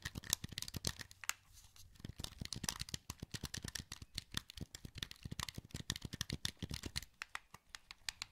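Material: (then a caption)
Plastic. A hollow, wired black plastic PS2 controller is held in both hands while thumbs rapidly click its buttons and sticks. It makes a quick, uneven stream of short, dry, bright plastic clicks with almost no ring, at a quiet level. A brief lull with a faint low rumble falls near the second mark.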